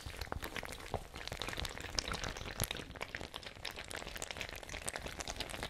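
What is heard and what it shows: A small, hollow, fabric-covered ice bag with a white plastic screw cap, partly filled with water, is held in the hand and shaken and squeezed so the water sloshes inside. The result is a steady stream of wet, gurgling sloshes packed with bright, crackly little splashes and ticks, with a few louder sloshes standing out.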